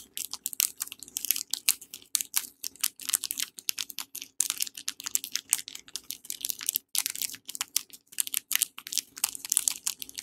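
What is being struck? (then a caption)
Soap bar in paper wrapper. A palm-sized, solid Safeguard soap bar in a yellow paper wrapper is held in both hands and tapped and scratched with long dark-painted nails. The result is a dense, rapid stream of crisp, dry clicks and papery scratches that are bright and high, with almost no low end and no ring after each touch.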